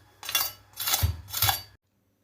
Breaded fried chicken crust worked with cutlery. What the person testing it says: سمعتوا صوت القرمشة الجامد ده؟